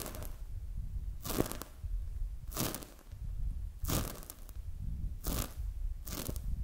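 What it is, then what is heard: Foam squishy toy. A palm-sized, soft, solid polyurethane foam squishy donut toy is held in both hands, squeezed and touched with fingertips and long acrylic nails. Short bursts of bright crackling and crunchy rustling come up over a steady low rumble.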